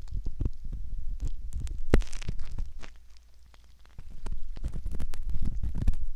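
A thin, curved metal ear pick scratches around the ear canal opening of a soft silicone ear, likely the ear of a binaural microphone. Close, muffled scraping and soft, dull thumping rumble low and deep, with brief brighter scratches. The sound dips quiet for about a second midway before the scratching picks back up.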